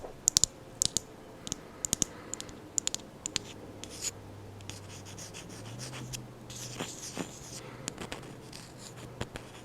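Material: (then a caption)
Wood. Someone taps and scratches the wooden lid of a candle, giving short, sharp, bright clicks with a high ringing tone, spaced through the clip over a faint steady low hum. Softer scratching fills the gaps, with a longer rough scraping stretch in the middle.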